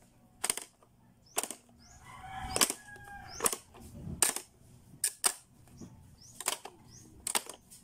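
Fingertips press the buttons and switches of a blue, hollow, hard-plastic Playskool pop-up learning toy, and its lids pop open and snap closed. The sound is a series of sharp, bright plastic clicks and snaps at an irregular pace, with quieter rubbing and sliding between them.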